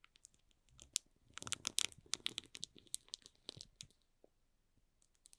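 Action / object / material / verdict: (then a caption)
scrape / cardboard box in plastic film / plastic film / none. Fingertips and short nails scratch and rub the barcode side of a small, hollow cardboard box wrapped in plastic film. The result is a run of quiet, dry, bright crinkles and scratchy taps, densest in the middle and fading toward the end. Each contact stops almost at once.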